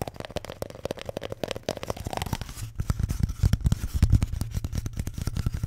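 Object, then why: Paper toilet roll. A paper toilet roll is tapped and scratched, giving a rapid run of soft, dull taps mixed with dry papery scratching. The sound is mostly low and muffled, and the taps grow louder and thumpier in the second half.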